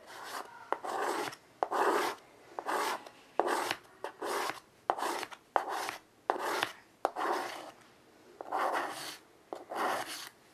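White chalk draws curved lines on a small wood-framed chalkboard resting on carpet. The chalk makes bursts of dry, raspy scratching with bright edges, separated by short pauses and sharp tapping clicks as it meets the board.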